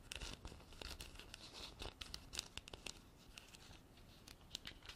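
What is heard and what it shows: Long black artificial nails tap and scratch a hand-sized, hollow, empty-looking white frosted textured hard plastic container held in the hand. Quiet, bright, crisp clicks mix with dry, crinkly scratching in an uneven, rapid flurry, each tap dying away almost at once.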